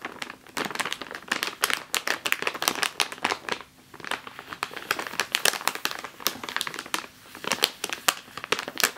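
A full plastic bag of flour resting on a table is tapped and scratched across the top with long nails. It makes a dense run of crisp, bright crinkles and clicks with no low end, and each sound stops almost at once. Brief lulls come near 3.8 and 7.2 seconds.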